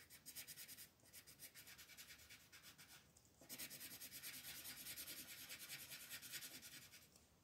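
A pink wooden colored pencil, held by fingertips with long nails, rubs back and forth to shade a flower bud on a flat white paper coloring page. Quick, bright, scratchy strokes repeat at a steady rhythm, pause briefly, then return louder and denser until the end.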